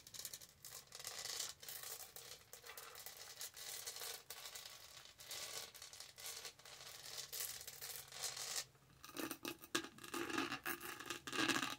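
Long nails scratch the textured body and then the lid top of a lavender studded plastic tumbler with a lid and straw. The result is a dense, bright, raspy scratching in quick strokes with brief pauses. Near the end it shifts to sharper, clickier taps with a firmer midrange tone.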